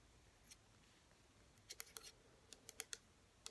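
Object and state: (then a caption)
Plastic bottle tapped with fingernails. Long natural fingernails quickly tap the front and sides of a small, hollow pink plastic hair serum bottle (97 ml), partly filled with liquid and standing upright on a table. About ten sharp, bright clicks come in irregular bursts, each dying away almost instantly over a quiet background.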